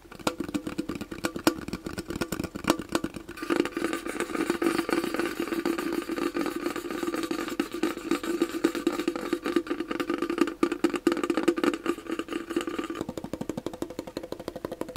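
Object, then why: Round shallow metal tin. Fingertips and nails tap quickly on the lid and side of a round, shallow, hollow metal chocolate tin with a moon-printed lid, held in both hands. A dense stream of fast, light metallic taps rings briefly around a steady mid pitch. Partway through, the tapping thickens into a brighter, busier patter before easing back.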